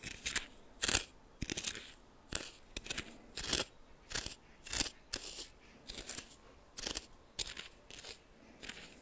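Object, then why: Coarse salt crystals in a small glass bowl, stirred with a plastic spoon. A red plastic spoon repeatedly stirs and grinds coarse salt in a small glass bowl that is partly filled, while a hand steadies the bowl. Bright, gritty crunching and scraping bursts arrive at an uneven rhythm, each dying away almost instantly between strokes.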